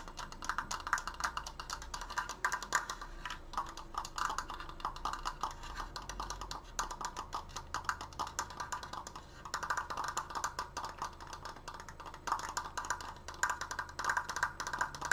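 A large open triangular triforce frame made of wooden slats is held upright while long painted nails tap rapidly on its side slats. The result is a dense, continuous patter of short, dry wooden clicks with almost no ring, centered in a hollow mid-range around 1.5 kHz. The tapping comes in bursts that thicken and thin across the clip.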